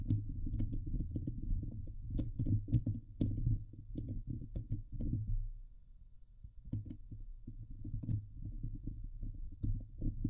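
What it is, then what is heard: Metal mesh microphone grille being scratched. Long fingernails of both hands scratch the hollow steel wire-mesh dome grille of a Blue Yeti microphone. Rapid, irregular strokes produce a dense, low, thumping rumble, with occasional bright, sharp clicks. The scratching eases briefly in the middle before picking back up.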